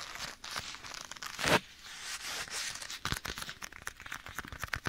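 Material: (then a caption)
Leather. Bare fingertips tap and scratch a black leather glove worn on one hand at the right side of the microphone. Dry, bright scratching and quick, sharp taps come and go, with a louder swish around the middle and a burst of rapid taps near the end.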